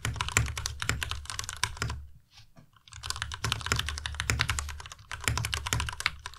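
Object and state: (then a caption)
Plastic mechanical keyboard being typed on. A white tenkeyless Ducky Miya Pro mechanical keyboard with Cherry MX Red switches, plastic keycaps and RGB backlight, resting on a desk mat, is typed on fast by both hands pressing the keys with fingertips. Dense, rapid clacky keystrokes with bright attacks and a low thock underneath fill the clip, with a brief near-silent pause around two to three seconds before the fast typing resumes.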